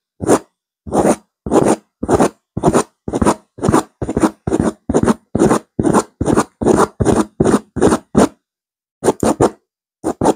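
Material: Woven fabric.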